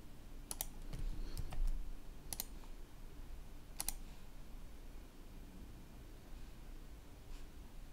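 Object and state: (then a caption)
Plastic laptop keyboard. A right hand resting on a red-backlit plastic laptop keyboard taps the keys lightly with its fingertips. Sparse, short, bright clicks come in irregular bursts over a steady low hum.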